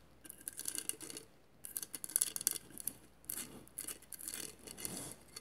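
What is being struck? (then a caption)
Vase covered in glass mosaic tiles. Long matte nails scratch along the tile edges of a hollow vase covered in mirrored glass mosaic tiles. Quiet bursts of bright, dry, rasping scratches come in short runs, separated by brief pauses.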